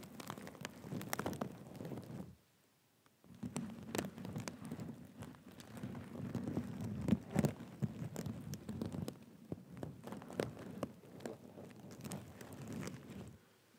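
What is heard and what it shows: Fingertips scratch and rub a black and gold sequin cushion resting on a lap, making a dense, soft patter of small clicks and scrapes over a low rustle. The rubbing stops briefly near the two-second mark, then resumes and continues in uneven bursts until it fades at the end.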